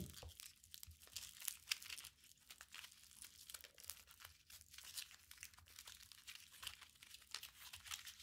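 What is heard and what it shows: A small, solid, walnut-sized ball of crumpled aluminium foil is squeezed and rubbed between the fingertips of both hands. The result is a steady run of dense, bright crinkling and crackling with quick, sharp clicks and little low end.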